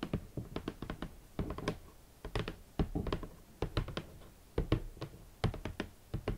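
A large, hollow, rigid red cardboard shoe box is tapped and knocked with long nails and fingertips. The result is a quick, uneven run of short, dull, hollow thuds, with a low body and faint clicky edges, each dying away almost at once.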